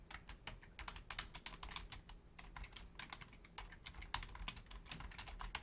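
Both hands, using long painted nails and fingertips, rapidly tap the membrane keys of a black plastic Logitech full-size keyboard with a hollow shell. The result is a fast, uneven stream of short, bright plastic clicks and clacks over a soft low rumble, each tap dying away almost at once.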